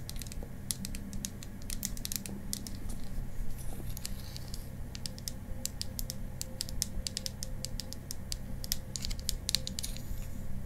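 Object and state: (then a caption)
Small wooden tube tapped with nails. A small, hollow, cylindrical pink painted wooden mascara tube is held horizontally in both hands in front of a mannequin face. It is tapped and scratched rapidly with long green acrylic nails, giving dense, sharp, high clicks with almost no ring over a low, steady hum.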